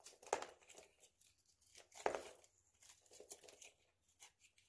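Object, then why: Bar soap with a hardened polish coating. A hand-sized, solid oval bar of dry soap with an orange-yellow nail-polish rim is held in the hand and shaved with a utility knife blade. The cuts make crisp, dry crunching and scraping sounds. Two louder cracks stand out from the softer scraping bursts, all with no ring-out.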